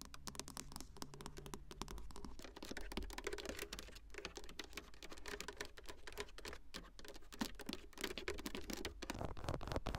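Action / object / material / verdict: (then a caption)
tap / glass touchscreen in a plastic dashboard bezel / glass / none. Long acrylic nails tap and scratch across the flat glass touchscreen of a car's dashboard infotainment unit, set in a plastic bezel and fixed solidly in the car, with a small microphone held just above without touching it. The result is a dense, rapid stream of short, dry clicks and scratchy swipes that die away instantly, over a steady low hum.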